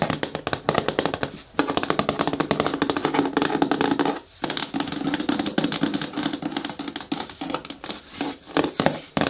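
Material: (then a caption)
Plastic. Long nails tap rapidly on the walls of a medium, hard, hollow green plastic bin with a lid as it is rotated from side to front. The result is a dense stream of quick, clicky, bright taps with a hollow mid-range ring that dies almost instantly, broken by short pauses.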